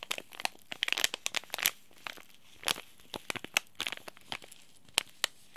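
A small, sealed green laminated plastic and foil tea bag sachet is crinkled and squeezed with the fingertips. It produces bursts of sharp, bright crackles and crisp clicks separated by short quiet gaps, with almost no low end.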